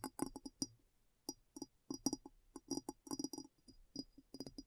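Long nails tap the sides and base of a large, clear, hollow glass bowl turned upside down and empty. Quick irregular bursts of short, dry clinking taps with a low-mid body and a bright, faint glassy ring fade almost at once, separated by brief pauses.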